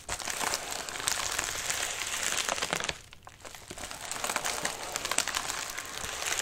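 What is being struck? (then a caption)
Padded mailer envelope. Fingertips scratch and press the wrinkled surface of a medium white padded mailer resting on a lap, making dense, bright crinkling and crackling. The crinkling dips briefly around the middle and then picks back up.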